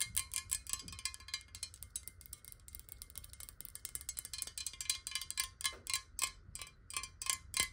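Long nails tap rapidly and unevenly on the body of a clear glass bottle of water held tilted. Each short, bright click carries a faint glassy ring near 1 kHz that fades almost at once. The tapping forms a quick, irregular patter over a soft low background hum.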